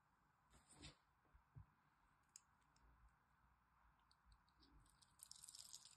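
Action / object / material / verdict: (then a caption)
scrape / bar of soap scraped with a metal blade / soap / none. A metal craft blade scores and carves the surface of a solid green bar of dry soap held in the hand, while other soap bars sit nearby untouched. Quiet, dry scratching and crisp little cutting clicks come through with soft low thuds, then build into a denser, brighter scraping toward the end.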